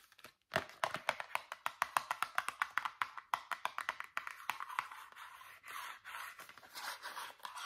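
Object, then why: Small cardboard toothpaste box. Long fingernails tap rapidly on a small, hollow white Meridol cardboard toothpaste box with the tube still inside, making a quick run of sharp, dry clicks centered around 1 kHz with almost no low end. The tapping then gives way to steady, rasping scratches across the box's cardboard surface.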